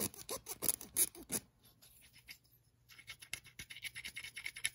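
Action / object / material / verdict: scrape / small clamp with a threaded steel screw / steel / none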